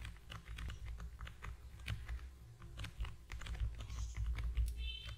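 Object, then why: Small cardboard box. A small, long, narrow, hollow cream-and-yellow cardboard product box with a printed logo is held in both hands just above a foam-covered microphone and tapped quickly with the fingertips of both hands. The taps come in a fast, uneven patter of short, dry knocks with a deep, hollow low thud beneath bright clicky edges, each dying away almost at once.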